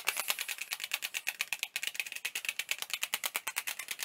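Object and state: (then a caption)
Plastic CD jewel case. Fingertips rapidly tap a small, hollow, clear plastic CD jewel case with a printed insert, held in both hands while it is raised overhead and near the face. About 31 quick, crisp, rattle-like clicks sound in steady succession, bright and high-pitched with no low end, each dying away almost instantly.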